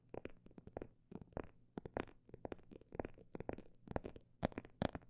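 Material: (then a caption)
Faux leather. Fingers tap on a phone bag made of imitation snake skin, producing many short, dull, soft taps in irregular quick bursts with brief pauses between. Each tap dies away almost instantly over a faint, steady low hum.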